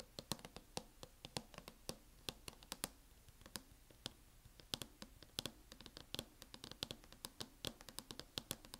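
Long fingernails tap and scratch the lid of a closed MacBook fitted with a teal matte plastic hard-shell case. Quiet, rapid, bright clicking taps come in an irregular flurry, with a soft scratching texture between them. Each tap is dry and dies away almost instantly.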